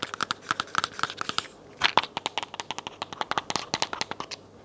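Long nails tap and scratch a hollow white plastic vitamin bottle with a label, held sideways and upright. About 32 quick, dry clicks and crinkly scratches come in an uneven run with a brief pause in the middle. Each is short and bright with a hollow tone near 960 Hz and almost no low end.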